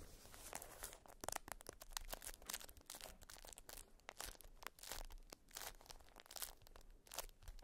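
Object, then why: Beeswax-coated cotton wrap. A folded, patterned beeswax wrap of wax-coated cotton is held in both hands and squeezed and crinkled with fingers and nails. It makes dense, irregular crackling and crunchy tearing-like bursts with bright high edges. The sharp crinkles are closely spaced and fade almost instantly over a low rumbling underlayer.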